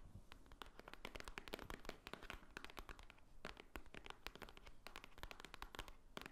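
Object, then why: Small cardboard jewelry box. Long nails tap quickly on the top and front face of a small, hollow white Swarovski cardboard jewelry box. The taps come as a steady stream of dry, crisp clicks with bright edges and a soft, hollow low thump. Each one stops at once with no ring.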